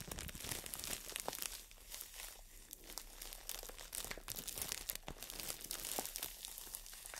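A green floral foam brick wrapped in plastic is held in both hands while long nails scratch and tap the crinkly wrap. The result is a continuous bright crinkling and rustling, dotted with quick, sharp clicks and brief quieter stretches.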